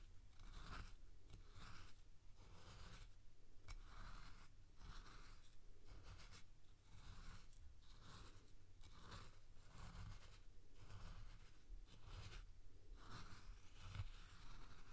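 A spoon digs and scoops through coarse salt in a clear glass bowl, giving a repeated gritty, crunching scrape. Each pass brings a bright, hissing burst over a steady low rumble, and the strokes follow one another in a regular rhythm throughout.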